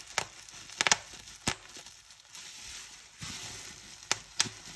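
Clear plastic bubble wrap is bunched in both hands while the fingers squeeze and crumple it, popping its air cells. Several sharp, bright pops stand out over a steady crinkling, rustling hiss that stays high and thin with almost no low end.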